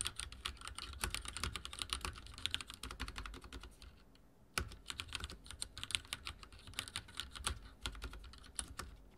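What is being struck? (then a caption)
Mechanical keyboard with plastic keycaps. Fingertips type on a backlit mechanical keyboard with dark plastic keycaps, producing a rapid stream of short, bright clacking keystrokes with some low thock beneath. The typing drops to a near-silent pause in the middle, then resumes with a sharp, loud key strike and continues at a steady pace.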